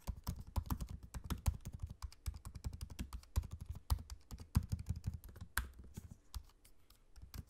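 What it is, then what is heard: Laptop keyboard typing. Both hands type rapidly with their fingertips on a dark grey, low-profile laptop keyboard with plastic keycaps set in an aluminium chassis, with a trackpad beside it. A dense run of short, dull, low-pitched key taps is heard, with occasional brighter clicks. The typing briefly thins out near the end before resuming.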